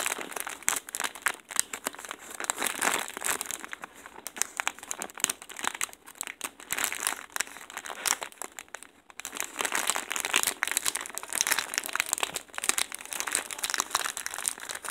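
A large white plastic poly mailer bag, filled and soft, is rubbed and pressed near its corner with fingertips and nails. Dense, bright crinkling rises and falls for about fifteen seconds, with a brief quieter dip near the nine-second mark. There is no low end and almost no ring after each crackle.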